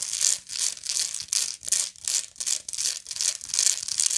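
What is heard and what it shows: Long nails scratch the textured weave around the central spiral of a round, hollow woven straw or raffia bag held in both hands. The result is a steady run of dry, bright, crinkly scratching strokes that swell and fade in a loose rhythm, with almost nothing in the low end.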